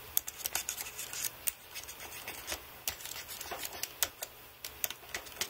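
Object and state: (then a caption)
Aluminium and plastic computer keyboard. Fingertips rub and press individual plastic keys on a white aluminium-framed computer keyboard, dabbing them with Blu-Tack. About twenty short, bright clicks stand out over a soft, steady rubbing hiss, with almost no low end. Each click dies away instantly.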